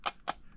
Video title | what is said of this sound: Moondrop Joker is KILLING IT under $100【Z Reviews】 | it just still sounds like plastic hitting plastic because the rubber is you know a millimeter thick when it gets to that point